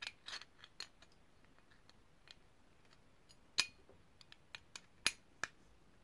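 Long painted nails tap and scratch a small, hollow, ridged brass herb grinder held in the hands, making quiet, irregular bright clicks and light scratching. The sharpest taps give a brief metallic ping, but each sound dies away almost at once against a near-silent background.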